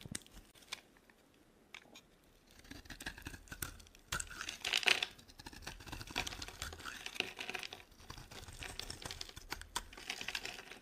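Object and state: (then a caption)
Dry soap bar. A metal blade scrapes shavings off a solid, rounded, pink embossed bar of dry soap held in the hand. The sound is a quiet, dry, crackling scrape, bright and thin with little low end, made of many short strokes. It starts sparse, then turns into a steadier run of scraping with a louder, crunchier pass near the middle.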